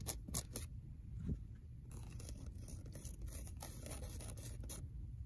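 Long nails scratch and scrape the torn paper and cardboard of a worn old paperback book spine. Quiet, dry, bright scratching bursts sit over a steady low rumble, with a few sharper scrapes near the start.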